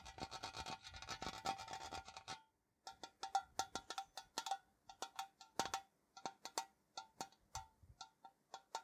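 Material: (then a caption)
Tinplate. A tall, hollow printed metal Ceylon tea tin, held on its side, is scratched and rubbed along its surface with fingernails. A dense, rapid scratching for about two seconds gives way after a brief pause to separate short, bright strokes. Each stroke carries a faint metallic ring near 785 Hz and dies away quickly.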